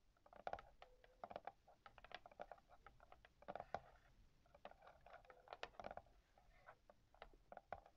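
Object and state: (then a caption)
Hardcover book endpaper, tapped and scratched. Long yellow-painted nails and fingertips scratch and tap the yellow paper endpaper of a large hardcover book lying open over its thick board cover. A quiet, steady patter of short, dry taps and papery scratches follows, each click dying away almost instantly, with a faint hollow tone around 700 Hz running through the strokes.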